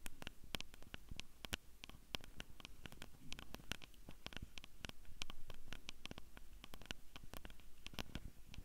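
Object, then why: Plastic handheld audio recorder with metal mic grilles. Long purple nails on both hands tap and scratch the metal mic capsules and top edge of a small Tascam handheld audio recorder with a hollow black plastic body. The result is a rapid, irregular stream of short, sharp clicks with bright edges and almost no ring. A steady low hum and rumble sits underneath throughout.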